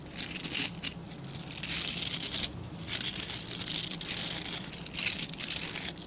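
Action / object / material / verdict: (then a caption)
scrape / synthetic bristle scrub brush with plastic back / plastic / none. Fingertips rub and scratch along the dense, dark synthetic bristles of a hand-sized plastic-backed scrub brush. The result is a series of bright, hissy, crackling scratch strokes with almost no low end, rising and falling in irregular waves with short quiet gaps between them.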